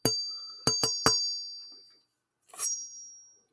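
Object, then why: Steel machete blade. A steel machete blade is struck several times in quick succession and rings like a bell with a high, clear tone that slowly fades. After a short silence, it is struck again and rings once more.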